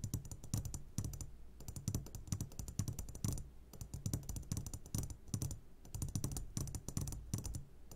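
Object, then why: Glass jar of gummy candies. A medium glass jar, upside down and full of sugared gummy candies, is tapped on its sides with the short fingertips of both hands. The result is a rapid, steady patter of light, dull taps with bright clicky tops and a soft low thump underneath. Each tap dies away almost at once, with no glassy ring.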